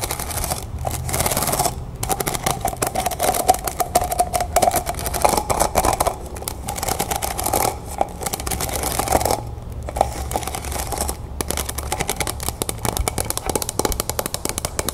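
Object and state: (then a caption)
Stack of plastic cups. Long painted nails tap rapidly on a stack of clear, textured plastic cups, hollow and empty and held sideways. The result is a dense run of quick, light clicks with a hollow plastic ring around 740 Hz and a bright, crisp edge. Brief gaps break up the tapping now and then.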